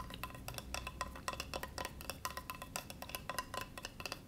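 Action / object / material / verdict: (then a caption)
scrape / bamboo cutting board / bamboo / none. Fingertips rub and scratch across the grained surface of a flat, solid, rectangular bamboo cutting board held on a lap. The result is a quiet, steady stream of quick, dry scratches and clicks with a bright, hissy edge, a faint tone near 1 kHz, and a soft low rumble underneath.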